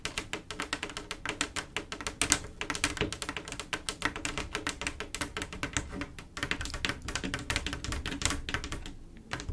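Long acrylic nails on both hands rapidly tap a solid, flat panel of silver mirror-glass mosaic tiles set in grout. The result is a dense, continuous stream of short, bright, clicky taps with almost no ring, over a faint low background hum that may be music.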